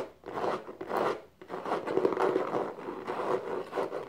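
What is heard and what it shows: Long nails and fingertips scratch and tap the diamond-textured exterior of a small, hollow, dark faux leather box resting upside down on a blanket. The result is a series of soft, dry rasping strokes with light taps mixed in, concentrated in the midrange with little deep or bright content. Each stroke rises and fades quickly.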